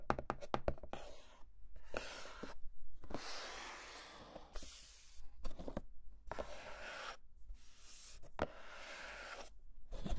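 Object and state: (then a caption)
Cardboard box, hollow. A small, hollow, white printed cardboard box, the packaging for a Rode NT5 microphone, is held in the hands and tapped and knocked with the fingertips. A quick run of sharp, dry taps opens the clip, followed by bursts of bright, rustling scratching broken up by further hollow knocks.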